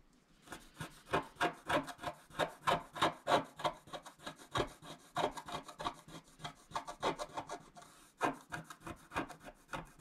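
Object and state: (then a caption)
Scratch-art card being scratched. A stylus, mostly hidden by the hand, scratches across a flat coated scratch-art sheet in quick, somewhat uneven strokes. About thirty short, dry scraping bursts sound, each with a raspy midrange edge and a bright hiss. They stop quickly with no ring.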